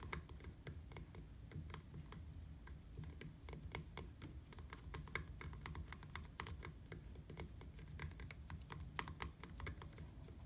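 Quick fingertips tap on a black, hard plastic, hollow-framed bicycle platform pedal, making a steady stream of sharp, dry clicks. Each tap is short and bright and dies away almost at once. A constant low rumble sits underneath the tapping.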